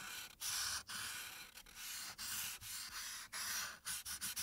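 A light-blue marker tip rubs back and forth across a printed paper coloring sheet lying flat on a dark backing, filling in the background. About a dozen quick strokes make a bright, dry scratching hiss, with short pauses where the marker changes direction.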